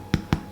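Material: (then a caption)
Bread. The bottom of a home-baked stottie cake, a Geordie bread, is tapped twice as it comes out of the oven. Each tap gives a short, low, hollow thud with almost no ring. The hollow sound shows the bread is virtually cooked.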